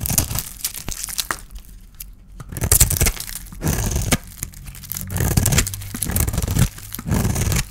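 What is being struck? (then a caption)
Bar of soap scraped with a metal blade. A small metal blade scrapes a palm-sized solid oval bar of dry white soap with leftover silver paint, held in the hand, shaving off soap curls. Dry, crisp scratching and crackling comes in repeated bursts, with brief quieter pauses between strokes and a soft low thump underneath.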